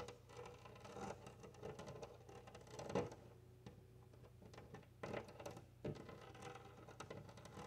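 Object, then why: Glass window pane. Long nails tap and scratch across a large flat glass window pane. Quick, light taps and soft scraping run throughout over a low steady hum, with a few sharper knocks standing out.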